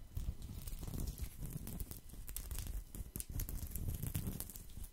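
Fingertips and nails scratch the woven surface of a thin, round, flat woven straw or rattan placemat held in both hands close to the microphone. The result is a steady, dense crackling and rustling scrape with a heavy low rumble and quick bright ticks scattered throughout.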